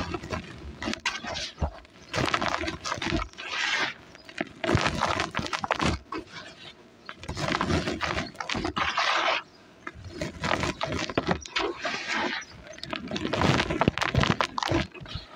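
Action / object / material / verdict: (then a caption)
scrape / cement powder in a plastic basin / cement powder / none. Bare hands dig into loose, dry, dusty cement powder in a large grey plastic basin, scooping handfuls and letting them pour and sift back in. Soft, grainy crumbling and hissing rush in bursts and swells, with brief dull taps between.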